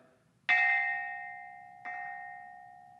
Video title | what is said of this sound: Silk and Bamboo—An Introduction | the interval that you usually get when striking these instruments is a third and this is a second